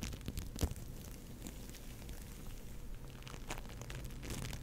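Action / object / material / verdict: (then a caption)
scrape / foam bead clay lump / foam beads / none. A soft, solid lump of orange foam bead clay (floam) is squeezed and scratched with long nails and fingertips. It makes a quiet, low, bubbly crackle with short, crisp, bright crinkling bursts and a small sharp pop near the start.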